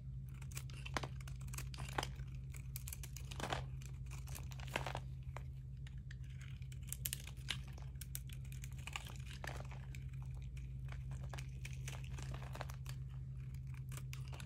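A metal blade scrapes and cuts crunchy flakes from the edge of a solid peach dry soap bar, partly shaved and held in the hand. Dense, quick, crisp crunching and crackling bursts with bright edges repeat throughout over a steady low hum.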